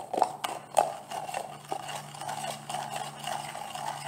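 A large, green, translucent plastic jar of olive oil gel, which looks full, is tapped on its lid and body with long nails. About eleven light, dry clicks come at an uneven pace, each with a hollow plastic tone around 800 Hz that dies away almost at once. A faint low hum runs underneath.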